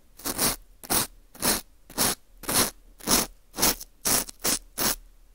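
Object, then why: Dried wheat gluten ring (fu) scraped with a plastic pick. A green plastic earpick scrapes inside the hole of a small, hollow ring of dry, porous baked wheat gluten (fu) held in a gloved hand. It makes a steady series of about ten short, crunchy, crumbling scrapes, each bright and hissy with little low end, separated by brief quiet gaps.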